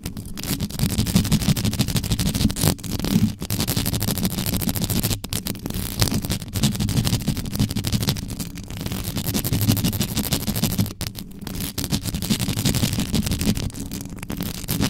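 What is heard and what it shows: Long yellow nails scratch fast and hard across the top of the mesh grille of a black metal USB microphone with no cover. The result is a dense, irregular, continuous scratching with a heavy, boomy low rumble, a crackly bright texture on top, and brief dips between bursts.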